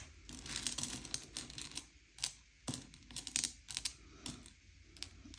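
Fingertips slide and push small, hard, sugar-shelled M&M's candy-coated chocolates around a pile on a grey plate, sorting them by colour. Bright, dry clicks and light rattles come in quick clusters, like soft typing, with short sharp taps standing out between quieter shuffling.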